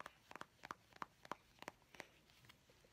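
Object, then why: Plastic cosmetic squeeze tube. A medium, hollow white-and-grey plastic cosmetic squeeze tube, held upright in both hands, is tapped with long painted fingernails. About nine quick, light, clicky taps come in an uneven rhythm, each with a hollow plastic tone around 1 kHz and a bright edge that dies away almost instantly. The taps are quiet, with a faint background hiss between them.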